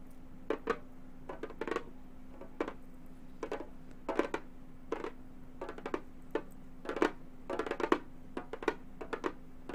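A round, hollow Remo frame drum with a synthetic head is drummed with long gold metal finger claws in quick, irregular bursts of light taps. Each tap is a short, dry, mid-pitched knock that dies away almost at once. A faint steady low hum runs underneath throughout.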